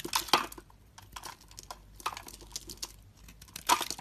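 A metal utility blade carves and scrapes shavings off a solid orange star-shaped soap bar held in the hand. Crisp, bright scraping and crackling strokes come in short bursts, loudest near the start and the end, with quieter scratches in between.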